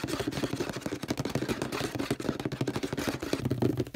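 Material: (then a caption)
Plastic. Fingertips tap rapidly on the label and body of a hollow orange plastic detergent bottle and touch its purple plastic cap. The result is a fast, continuous stream of short, dry, hollow taps with a low-mid resonant tone.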